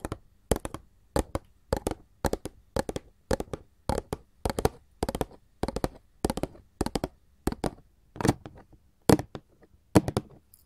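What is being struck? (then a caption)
Printed paperboard candy box tapped with metal claw tips. A glossy printed paperboard candy box is tapped and scratched with gold filigree metal claw jewelry. Quick clusters of dry, hollow taps come in steady bursts roughly every half second, each dying away almost instantly, with faint scratching between them.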